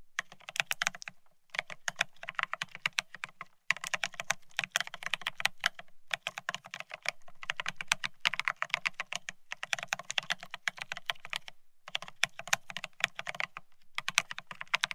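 A Bear65 mechanical keyboard with blank white matte ceramic Cerakey keycaps on a steel plate, resting on white cloth, is typed on rapidly with the fingertips of both hands. Bright, crisp clacks come in fast, dense bursts separated by brief pauses, with a light low thock under each press and almost no ring after each keystroke.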